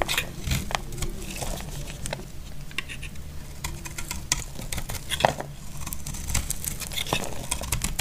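A utility knife blade shaves curls off a solid, dry, brown rectangular bar of soap held in the hand. The result is a steady run of dry scraping and crackling, punctuated by short, sharp bright clicks and snaps over a low, dull rumble.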